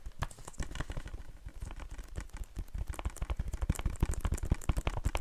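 Fingertips tap quickly and unevenly on a slightly cracked plastic Blu-ray case of the horror film "It," producing about 29 soft, dull, low-pitched clicks. Because of the crack, a loose piece adds a slight ring to the taps, so they don't sound very clean.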